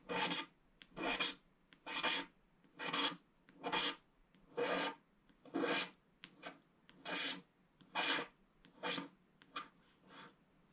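A wooden stylus scratches a flat, black, wax-coated scratch-art sheet along the lines of a ship and water. It makes a steady series of dry, raspy scraping strokes, each about a second long, with brief quiet gaps and a few shorter flicks between them.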